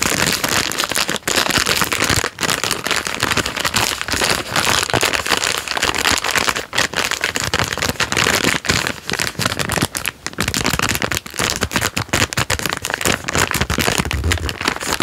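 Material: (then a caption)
Plastic film. A thumb rubs and squeezes the plastic film wrapper of a full Jammie Dodgers Unicorn biscuit packet, making dense, continuous crinkling and rustling. The crackle is bright and crisp, with little low end, and it keeps up steadily throughout with only brief dips between squeezes.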